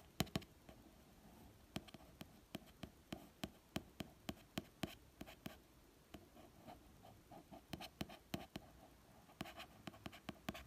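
A fingertip traces the artwork and text on the glossy card cover of a red paperback novel, which sits over a solid paper block. Soft, dry scratching runs under a series of light, quick taps, each a short dull click with a bright edge and no ring. The whole clip stays quiet and close.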